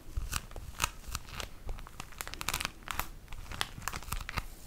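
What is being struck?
Tissue paper pack in plastic wrap.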